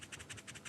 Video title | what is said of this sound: James May Builds A 1957 Telephone - The Reassembler - S1E02 | you can hear that little noise can you hear that sound of Department that's that is the sound of carbon granules inside there